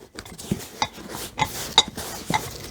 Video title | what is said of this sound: Mail Time with Simple Kustoms Eddie Papandrea What did he send | if you listen and they're kind of rattling